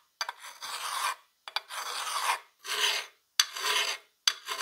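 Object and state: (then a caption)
Steel plier half being filed. A gloved hand draws a flat steel file across a solid, rusty steel plier half clamped in a vise, making five separate scraping strokes with short silences between them. Each stroke starts with a few sharp ticks as the file bites, then becomes a bright, hissy rasp with almost no low end; the last stroke is cut off at the end.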